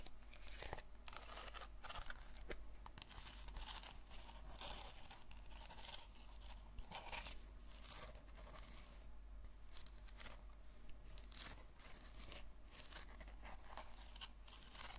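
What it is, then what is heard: Plastic container being scratched. Long red fingernails slowly scratch a small, hollow purple plastic slime tub with a textured lid. The scratching is a continuous dry, crinkly rasp with bright, papery bursts over a steady low hum.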